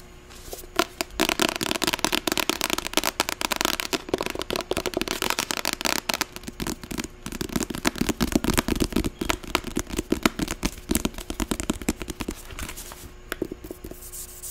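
Long acrylic nails tap fast on the cover and edge of a medium, closed paperback novel with a light blue cover (All the Bright Places). The result is a dense, steady stream of sharp, dry clicks and crackly taps with a bright edge and almost no ring, continuing for the whole clip with only brief lulls.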